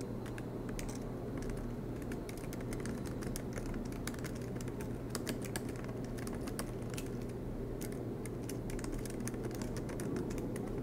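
Fingertips of both hands type rapidly on the black plastic keycaps of an aluminium MacBook Pro laptop resting on a desk mat. Quick, soft, bright key clicks patter continuously over a steady low hum. The clicking stays at an even level throughout.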